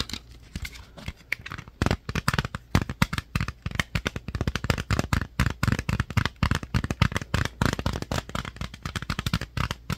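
A clear plastic DVD jewel case with a DVD-R insert, held in both hands, is tapped and scratched with fingertips and nails. The result is a dense, rapid run of short, dull clicks and hollow plastic taps with a low thump, mixed with crackly scratching. Each hit dies away almost instantly.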